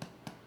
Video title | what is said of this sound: How to make sourdough bread at home. | that sounds Hollow and that means that it's definitely done